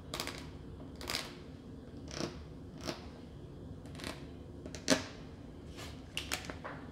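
Long nails tap a clear, hollow plastic clamshell of mini muffins with a paper label, about 20 cm, held in hand. Light, crisp plastic clicks with a bright, hollow edge come at an irregular pace over a quiet background and die away almost at once. One tap near the middle lands noticeably harder than the rest.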